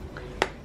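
A tap on the crackling skin of an oven-roasted pork belly gives a short, sharp, dry click with almost no ring, over faint background noise. The crisp sound shows the skin is very crispy, so crisp that it is hard to cut.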